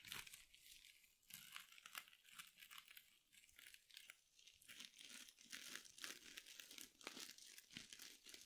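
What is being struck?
Mesh scrub sponge.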